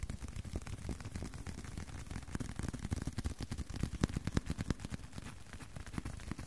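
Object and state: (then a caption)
Leather card wallet. A leather card wallet is tapped in a steady, fairly quick run of soft taps with no talking. Each tap is a short, dull, low thud with almost no ring and very little bright content. The tapping grows slightly louder and sharper toward the middle of the clip.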